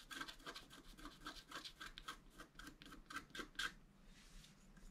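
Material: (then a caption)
Coated card. A wooden stylus scratches the black coating at the lower edge of a flat scratch art card. A quick series of short, dry, raspy strokes is heard, bright and hissy with a faint squeaky tone near 1.6 kHz. The strokes fade out over the last second.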